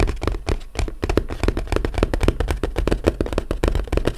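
A small, flat, closed, hollow brown corrugated cardboard box is tapped and lightly scratched with the fingertips and short nails of both hands. The result is a rapid, continuous patter of dull, hollow, low-heavy taps that die away almost instantly, with faint scratchy texture between them.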